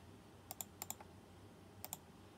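Fingertips press keys sparsely at the left edge of a white plastic mechanical keyboard with round chrome-rimmed keycaps. Seven short, bright clicks come mostly in quick pairs over a faint low hum, each dying away almost instantly.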